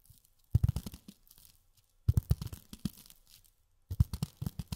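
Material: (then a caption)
Polyethylene foam. Long fingernails tap on polyethylene foam in three quick bursts of dull, crunchy taps. The sound is low and muffled, with almost no brightness, and each tap dies away instantly.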